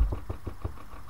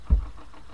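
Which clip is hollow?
The second.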